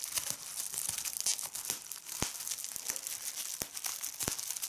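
Clear plastic bubble wrap is pinched between fingers with red nails, popping the bubbles one by one as the film crinkles. The sound is a steady, bright crinkling broken by sharp, short pops, several of them louder and standing out clearly.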